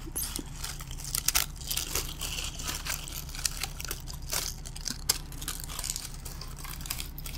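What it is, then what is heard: Bottle-brush Christmas tree bristles. Fingers and nails rub and scratch through the synthetic bristles of a small green, glittery bottle-brush Christmas tree held up close. The result is a continuous stream of bright, crinkly, crunchy scratching with sharp, quick-fading spikes over a steady low hum.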